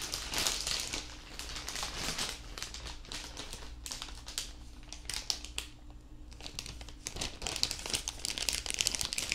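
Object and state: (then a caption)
Crinkled plastic bag. An empty, large, thin clear plastic bag draped over a binaural microphone is crinkled and squeezed with both hands. The result is dense, bright crinkling and crackling in quick bursts, with a lull in the middle before it picks up again toward the end, over a faint steady low hum.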